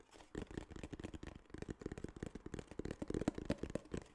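Fingertips tap and scratch quickly on a small, hollow tan kraft cardboard case. The result is a dense run of soft, dull, hollow taps with a low body and almost no high end, each dying away instantly, mixed with faint scratching between them.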